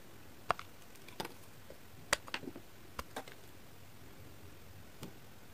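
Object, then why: Glycerin soap bar. A pink-bladed kitchen knife shaves thin flakes off a hand-sized, heart-shaped, solid translucent pink glycerin soap held in one hand. Short, dry scraping ticks and crisp bright shaves sound at irregular intervals against a quiet, faint background, with no ring after each stroke.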